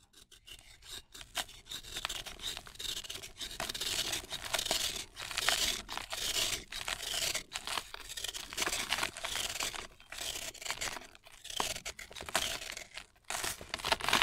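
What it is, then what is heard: Dry cement-sand ball, crumbling. A fist-sized, solid, dry, soft cement-and-sand ball held in the hand is shaved flat with a red-handled blade, then crumbled apart in the fingers. Repeated gritty, rasping scrapes come in short bursts with brief pauses between them. The sound is bright and dry with almost no low end.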